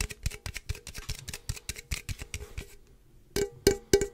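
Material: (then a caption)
Aluminum. A standard-size hollow aluminum energy drink can with a pink and purple print, fill level unseen, is held near the mic and tapped and scratched with fingertips and nails. A quick, uneven run of short, dry taps with bright scratchy edges settles into a brief quiet gap near three seconds. Three louder, hollow taps with a faint metallic tone around 400 Hz then follow.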